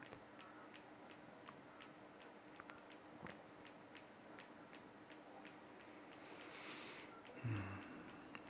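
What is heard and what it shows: A graphite pencil taps and scratches small strokes over a sketched head on a flat, thin sheet of white card lying on a towel, with one hand holding the card down. A steady series of light, dry ticks sits over a faint low hum, with a brief brighter scratching passage and a louder, duller thump near the end.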